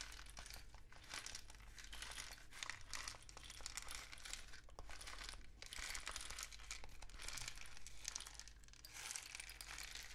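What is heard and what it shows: A hand-painted rain stick made from a long hollow cardboard tube with an orange mesh-wrapped end is held in the hands and tilted and turned so its filling trickles inside. It makes a dense, bright, continuous rattling patter that swells and fades in waves over a steady low hum.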